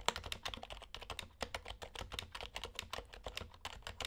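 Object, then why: Plastic Topre keyboard. Both hands type with their fingertips on a compact HHKB Hybrid Type-S keyboard with silent Topre switches and dark, white and red plastic keycaps. A rapid, steady run of soft, muted keystrokes is heard, each a short, dry tap with a bright edge and almost no ring. The typing stays quiet throughout.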